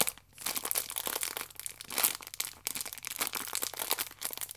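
Long nails scratch along the ridged edge of a plastic-wrapped stack of yeast sachets while fingertips squeeze it, making a dense, bright crinkling with sharp crackles and almost no low end. The crinkling runs nearly continuously, with short quieter gaps near the start and just past the middle.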